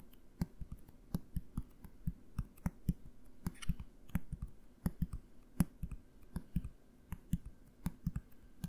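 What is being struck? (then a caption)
Plastic bottle. A medium blue plastic bottle with a cap is held upright near the mic and tapped with the fingertips. About thirty quick, dull taps come in an uneven rhythm, each a short hollow thud centered low around 176 Hz with a faint click on top and almost no ring.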